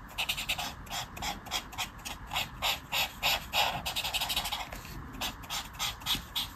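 A marker tip is scratched back and forth in short strokes over a flat paper colouring book page resting on a table. The result is a quiet, rhythmic run of bright, papery scratches, about three strokes per second, each with a brief hiss that fades quickly.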